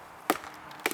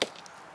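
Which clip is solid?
The first.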